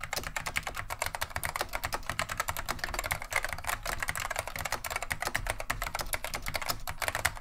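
Continuous two-handed fingertip typing on a beige plastic vintage Wang 725 mechanical keyboard with Alps SKCM Neon Green/Lime switches. Rapid, sharp, bright clacks follow one another with very short decay over a faint, steady low hum.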